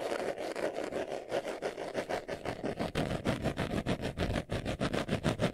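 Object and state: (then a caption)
Leather glasses case being scratched. Fingernails scratch quickly across the surface of a small, hollow brown pebbled-leather glasses case held in the hands. The result is a steady run of rapid, rhythmic rasping strokes, about three per second, with a dry, hollow midrange texture and a faint bright hiss.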